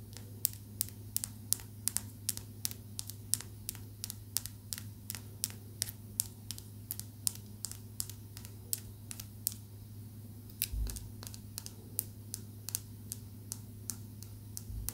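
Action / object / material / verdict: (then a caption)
tap / small rough calcite crystal / calcite / none. A small, rough, bluish calcite crystal held between the fingertips is tapped and scratched with long acrylic nails. Sharp, bright clicks come in a quick, steady rhythm with faint scratching between them. A low, steady hum sits underneath.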